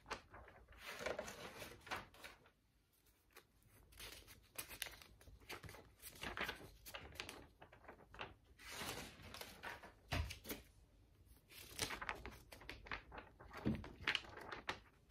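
A large, thick spiral-bound notebook of lined paper with a metal coil rests on a table while long pink nails and fingertips lift, bend and turn its pages. Soft, bright crinkling and rustling come in repeated bursts, broken by brief quiet gaps and a few sharper, low page-flap thumps.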